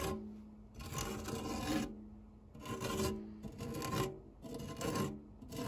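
A white silicone spatula scrapes and rubs across the textured base of a round, dark non-stick metal tart tin with a fluted rim and cake crumbs on it. Repeated rasping strokes swell and fade with short pauses between them, giving a gritty, filing-like scrape with a bright hiss on top and a faint low tonal ring underneath.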